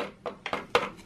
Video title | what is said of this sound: Angelo's Mom Makes Kataifi - Greek Walnut Dessert | it's brittle bread you tap it you hear the sound it makes